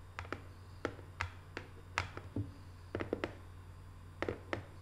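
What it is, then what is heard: Small cardboard box tapped with nails. Long nails tap, with both hands, on the closed lid of a small, hollow, rectangular decorative cardboard box covered in Paris photo prints. The result is an irregular series of light, dry clicks with short, hollow knocks that fade almost instantly. A steady low hum sits underneath.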